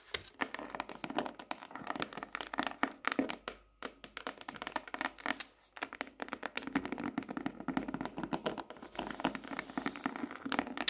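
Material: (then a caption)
Cardboard. Fingertips and nails tap and drum rapidly on the cover of a tropical leaf-print hardcover notebook, first held upright and then lying flat. The taps are short, dry and clicky, coming in dense bursts with brief pauses in between.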